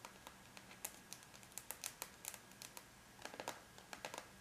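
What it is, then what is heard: Aluminum laptop lid. The closed silver aluminum lid of a laptop, a flat, thin, hollow-backed metal shell, is tapped with the tips of long bare natural nails of both hands. The result is a quiet, irregular patter of sharp, bright clicks that die away almost instantly, over a faint low hum.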